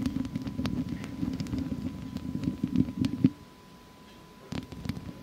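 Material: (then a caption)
Metal mesh. Long fake nails on both hands scratch the hollow metal mesh head of a studio microphone, with the hands staying on the grille throughout. A dense, low, rumbling scratch is broken by sharp clicks and pops. It drops to near silence at about 3.4 seconds, then resumes more lightly for the final second.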